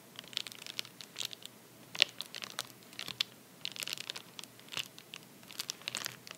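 A hand taps and scratches the fingertips across a flat padded paper bubble mailer lying on a towel. The result is a quick, irregular run of dry, crinkly, crunchy ticks and scrapes, bright and thin with almost no low end, each sound stopping instantly with no ring.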